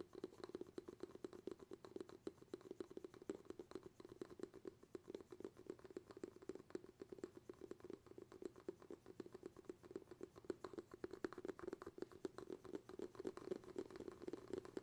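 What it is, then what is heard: Glass jar with bamboo lid. Fingertips tap rapidly and continuously on the bamboo lid of a glass jar held in both hands. The taps are soft, quiet and dull, with a hollow tone around 355 Hz and almost no ring after each one.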